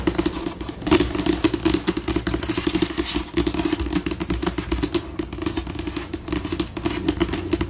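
Long acrylic nails tap and scurry fast with both hands across a solid, flat white glossy laminate tabletop. The result is a dense, continuous patter of short, dry clicks with a steady mid-range tone around 355 Hz, a bright edge, and a low rumble beneath.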